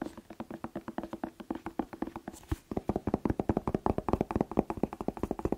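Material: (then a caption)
Vegetable. Fingertips tap rapidly on a bell pepper (paprika), making dull, hollow knocks with a low-mid body and almost no ring. The taps come in a steady, fast stream that briefly pauses near the middle, then resumes slightly louder and quicker.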